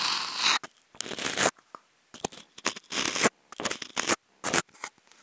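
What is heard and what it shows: Wooden toothpicks fitted with clip microphones scratch an octagonal, hollow white polystyrene foam food container. Bursts of bright, dry, squeaky scraping come in uneven strokes with brief silences between them, with almost no low end.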